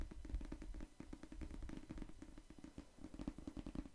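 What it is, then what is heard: Paperback book. Fingertips tap rapidly on the cover of a solid pink paperback novel held beside the microphone. The taps are soft, dull and low, each dying away almost at once, with a steady thumping rhythm and little high-end brightness.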